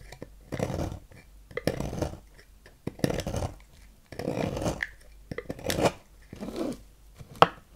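A thin metal knife scrapes and carves flakes from the end of a palm-sized, solid light-blue bar of soap embossed "Fax," held in hand. About six separate rasping, gritty strokes stand out between quiet pauses, ending in a short, sharp tick near the end.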